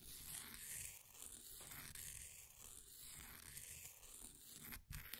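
A flat wooden popsicle stick scratches and scrapes the surface of a solid, green, ball-sized bath bomb of compressed powder held in a blue plastic ring holder. The strokes give a continuous gritty, bright rasp with a low rumble underneath. A brief dropout comes near the end before the scraping resumes.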